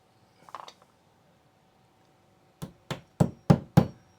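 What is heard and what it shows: A hammer taps along a drywall wall over a wood framing stud, starting with a few faint taps and then five sharp, dull, low thuds that grow louder and more solid. The solid sound shows there is a framing stud at this spot.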